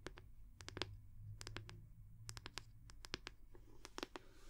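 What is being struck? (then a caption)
Round wooden hair brush back. Long nails tap the round wooden back of a wooden hair brush in quick, irregular bursts. Each tap is a short, dry click with bright upper content that dies away almost instantly, over a steady low hum.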